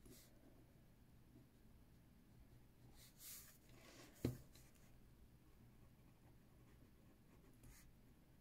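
A left hand writes with a metal pen on the page of an open spiral-bound paper notebook resting on a wooden table, the other hand resting on the table beside it. Faint, airy scratching of the pen tip on the paper comes and goes over a low, steady background hum. One short, sharp tap stands out just past the midpoint of the clip.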